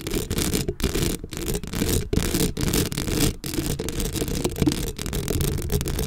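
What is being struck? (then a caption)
Metal mesh microphone grille. Long acrylic nails scratch across a black metal mesh microphone head in quick, continuous strokes. The result is a dense, boomy scratching texture heavy in low rumble, broken by brief silent gaps between strokes.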